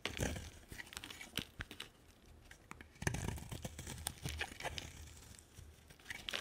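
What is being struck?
Bar of soap.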